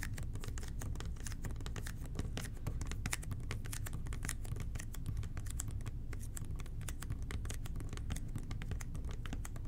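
A hollow red and white plastic toilet cleaner bottle with a blue nozzle is tapped with the fingertips of both hands. A steady stream of soft, quick, clicky taps runs throughout over a low rumbling background, with short, dry, bright ticks.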